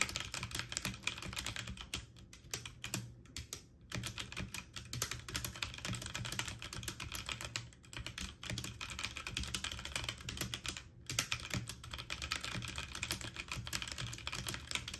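A full-size backlit mechanical keyboard with plastic keycaps on an aluminum frame is typed on quickly with fingertips and short painted nails. A dense, fast stream of bright, sharp key clacks dies away almost instantly, with a steady low rumble underneath. The typing pauses briefly a few times before carrying on.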